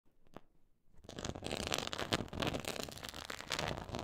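Long acrylic nails scratch across a flat, black quilted faux leather board with a raised diamond/pyramid texture. After about a second of near-quiet with a faint tick, a dense, continuous bright scratching begins and holds steady with uneven rasping bursts to the end.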